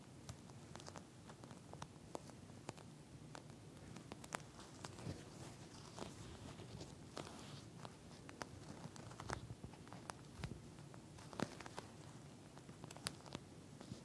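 Long nails scratch and tap a pink flat eye mask with a clear plastic shell filled with small gel beads, and the mask is briefly held up. The sound is quiet and close, with a constant soft, low rustling scrape broken by many short, sharp, bright ticks that stop at once with no ring.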